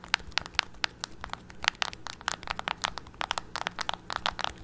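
A hollow, handheld black plastic TV remote with rubber buttons is held in both hands while fingertips and nails press and click the buttons repeatedly. The result is a rapid, irregular run of short, dry, bright clicks with almost no ring, over a faint low steady hum.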